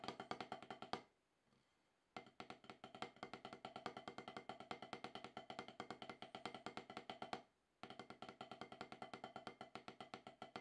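Two wooden drumsticks tap out fast, steady strokes on a solid, octagonal HQ rubber drum practice pad with a dark rubber surface. Each hit is a short, dry, woody knock centred around 750 Hz with very little low end. The playing runs in three bursts, separated by a silence of about a second and a shorter break near the end.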